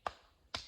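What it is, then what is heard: Solid beech tree trunk. A stick taps twice on the hard, smooth bark of a standing beech tree trunk to sound it. Two short, sharp knocks ring only briefly with no booming hollow resonance. The trunk sounds solid, not hollow like a drum or wine barrel.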